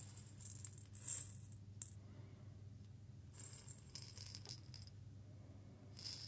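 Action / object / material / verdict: shake / small glass jar holding fine grains / glass / none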